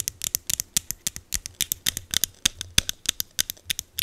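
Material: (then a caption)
Plastic. Long green acrylic nails tap and scratch a small green plastic e.l.f. setting mist bottle held close to the mic. About 27 quick, dry, bright clicks and scrapes follow one another over four seconds, with almost no ring and little low end.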